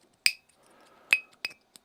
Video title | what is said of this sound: QIDI PLUS 4 UNBOX AND FIRST PRINT - EDGE OF 3D | PPS carbon fiber. Hear that? Sounds like metal.